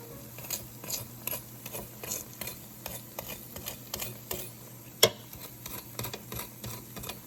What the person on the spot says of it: i'm about to let you guys hear how crispy these wings actually are